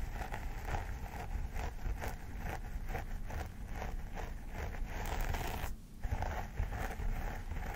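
Fingernails scratch along the parting of a vinyl mannequin doll head with synthetic hair while the other hand holds the hair aside. The sound is a steady, crisp, rustling scrape with a low rumble underneath and a brief quiet gap near the end.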